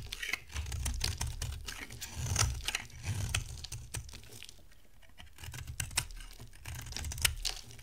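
A solid white bar of dry soap with a dark coating is held in the hand and scraped and carved with a box-cutter blade. Dense, crisp clicks and dry scraping ticks sound over a low rumble. The sound briefly thins out into a quieter stretch midway before the carving picks up again.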